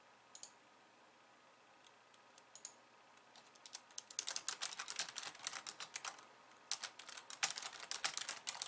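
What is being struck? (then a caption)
Plastic computer keyboard. Long painted nails type on a pink low-profile plastic keyboard with white keys resting on a wooden desk. A few scattered, soft taps open the clip, then quick bursts of bright, crisp clicks follow, pausing briefly before a final flurry. Each click is short and sharp, with almost no ring.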